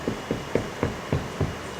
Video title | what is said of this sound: Estación González del Ferrocarril Nacional - Lic. Valentin García | está hueco. Antes no había tabla roca. Entonces este es un entramado de carrizo recubierto con yeso